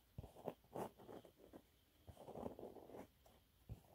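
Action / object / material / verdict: scrape / cellulose sponge cloth / cellulose / none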